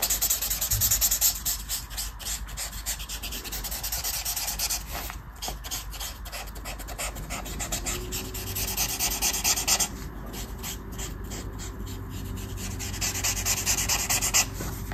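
A black-barrelled brush marker held in the fingers rubs and scratches across a flat sheet of white colouring-book paper printed with a mandala, lying on a table, while colouring. It makes a steady, bright, scratchy rasping of quick, uneven strokes that continues throughout, with a faint low tone underneath in the second half.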